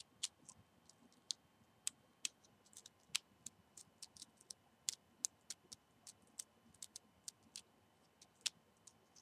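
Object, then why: Cinnamon stick, rolled bark. A single dried cinnamon stick of hollow rolled bark is held in both hands while fingernails scratch and rub along its length. About 25 quiet, sharp, bright clicks and scrapes come at irregular intervals, each dying away almost instantly, with almost no low end.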